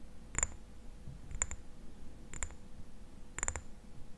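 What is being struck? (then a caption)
Small glass dropper bottle. Fingertips and nails tap the sides of a small, hollow amber glass dropper bottle with a black rubber dropper cap and a white label, held upright in both hands. Short, bright glassy clicks come in quick double taps spaced about a second apart, each with a faint high ring that dies away almost at once over a low background hum.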